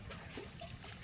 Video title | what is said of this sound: CoconutFarming🥥🌴🏝️Coconut Kuridi Business,Profits,DryCoconut🥥cutting#coconutwater🥥#farmer#shorts#yt | ఊపి చూస్తే నీళ్ళు ఉన్నాయో లేదో మనకి సౌండ్ తెలుస్తుంది.